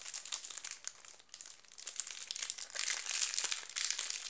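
An oval solid bar of soap, still in its clear plastic wrapper, is tapped and scratched with long black nails. The result is fast, irregular, bright crinkling and ticking of the plastic, with almost no low end. It grows denser and louder in the second half.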